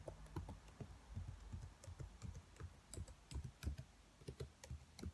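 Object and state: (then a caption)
Plastic laptop keyboard. Fingertips with long white nails tap the keys of a black plastic laptop keyboard at a slower pace. About sixteen soft, quick taps are heard, each a low, dull thud with a faint bright click that dies away almost at once. The overall sound is quiet and muffled, with no other sounds.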